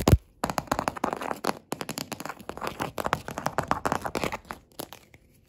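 Green claw fingertips tap and scurry fast across a solid, dark wood-grain wooden table top. Rapid, dry, clicky taps come in dense bursts with brief pauses between them. Each hit stops almost at once, with a low knock underneath.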